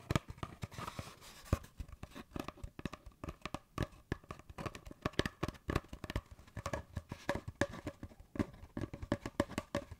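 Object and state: Cardboard paper towel tube.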